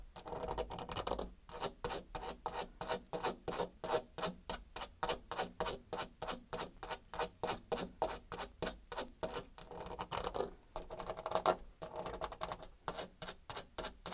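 Long dark red nails scratch and tap quickly across the flat surface of a white painted, textured molded interior panel door. The result is a fast, uneven run of dozens of short, bright, dry clicks and scrapes, each dying away almost instantly, with little low-end body and a faint hiss between strokes.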